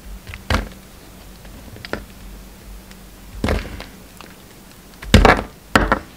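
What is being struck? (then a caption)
Soap bar cut with a knife blade. A solid lilac soap bar held in the fingers is cut and shaved with a utility knife blade. Dull, short thunks and crisp scraping crackles come in uneven bursts over a faint steady low hum, with the last few strokes louder and brighter.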